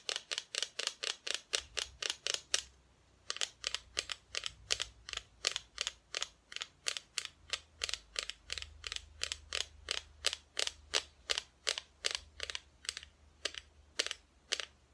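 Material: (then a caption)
Plywood. A flat, thin, painted plywood Christmas decoration cut-out, held sideways close to the mic, is tapped rapidly with long nails and sounds solid. About 54 crisp, bright clicks with almost no ring come in a steady run, with a brief pause near the three-second mark.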